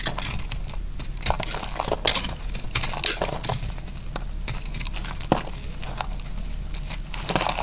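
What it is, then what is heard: Dry bar soap being cut. A utility knife blade cuts a dry, solid pink bar of soap held in the hand into slices. Each cut makes crisp, bright crunching and crackling scrapes over a steady low rumble. Sharper snaps stand out now and then as the slices come away.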